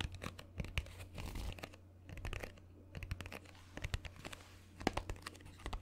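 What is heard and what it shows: A small, hollow, green Instax mini film box made of printed cardboard is held close to the mic and tapped and scratched with fingernails. Quick dry taps and crinkly scratching bursts come and go, with brief quieter gaps, over a steady low hum.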